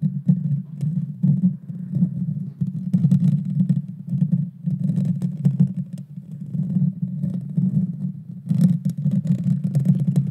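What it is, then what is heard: Metal mesh microphone grille being scratched. Long painted fingernails scratch the bare metal mesh grille on the hollow head of a small Blue Yeti Nano USB microphone. The result is a dense, continuous low rumbling scrape with a steady hum-like drone, rising and falling in loudness, with brief bright crackles flickering in at moments.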